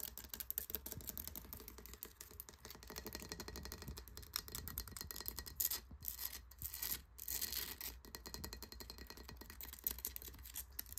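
Fingertips and short nails scratch and tap the rough, porous, coral-like surface of a large pale conch seashell, solid and hollow, resting on a wooden surface. A dense, bright, crackly scratching runs throughout with quick dry taps, short pauses near the middle, and a steady low hum underneath.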